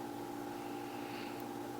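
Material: Nothing is struck.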